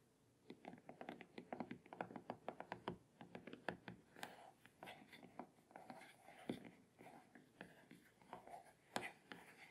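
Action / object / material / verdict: tap / plastic back of a tablet / plastic / none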